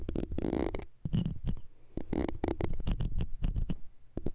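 A metal pick and tweezer tips scratch and tap the metal mesh grille of a small cylindrical microphone, the left one of a pair. The result is close, dense scraping and quick tapping bursts, heavy and boomy in the lows with short bright crackles, each contact dying away almost instantly.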